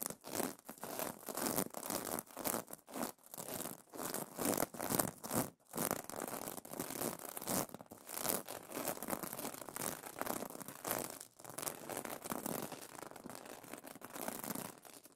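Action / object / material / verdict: scrape / sequin fabric pillow cover / plastic sequins / none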